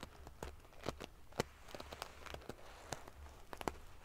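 Fingers and long nails ruffle a large padded pillow covered in rows of silver metal sequin pieces. The result is a quiet stream of sharp, dry clicks and crackles with a bright, prickly edge, each dying away almost instantly over a low rumble.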